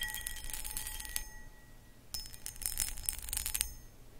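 Long acrylic nails scratch the textured sides of a medium, hollow, empty cut crystal footed pedestal bowl, producing bright, crisp rasping and clicking in two bursts, separated by a short pause. A faint steady glassy ring holds under the scratching, over a low background rumble.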